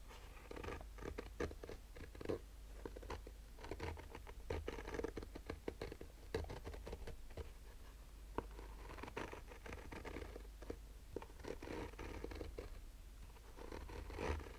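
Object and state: Fabric-covered hard sunglasses case, scratched.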